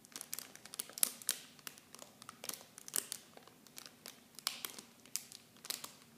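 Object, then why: Thin plastic film packaging. Clear plastic film packaging wrapped around small blue Nivea bottles is squeezed and crinkled with fingers. The result is a quiet, steady run of sharp, bright crackles and snaps with almost no low end, each one dying away instantly.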